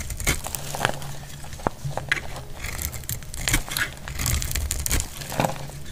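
A dry, solid red soap bar held in the hand is shaved with a metal blade into thin curls. Quick, crisp scraping strokes give off bright, dry crackles, over a steady low hum.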